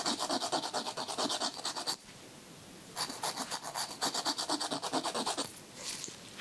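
A white emery board is rasped back and forth across the edge of a fingernail on a hand held close. It makes quick, bright, gritty scraping strokes in two bursts, with a short quiet pause between them.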